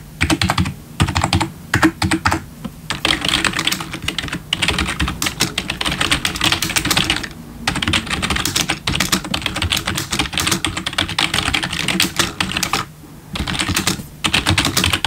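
Bare fingertips of both hands type fast on a full-size black plastic membrane gaming keyboard with RGB backlit keys, resting on a wooden desk. Dense runs of short, bright plastic taps clatter steadily with a low thump under them. The runs break off in brief pauses before picking up again.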